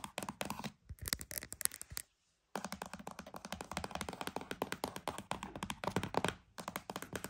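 A cardboard box is tapped and scratched in quick, close succession, giving dense dry thunks and crisp scratchy rasps that spread from low thuds up into bright highs. The taps stay short with almost no ring, and the run stops briefly for about half a second before resuming at a steady pace.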